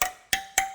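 A steel motorcycle wheel spoke is tapped three times with a wrench, each tap giving a bright metallic ping with a clear ring near 770 Hz. The spoke is properly tensioned, unlike a loose one out of adjustment.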